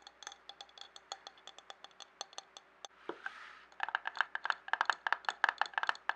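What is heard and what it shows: A medium clear glass jar with a screw-thread rim, filled with colored paper scraps, is handled, tilted and tapped with fingertips and nails. Quiet, crisp, bright ticks repeat at an uneven pace, broken around the middle by a soft rustling swell as the jar is tilted. The tapping then returns faster and louder in dense clusters.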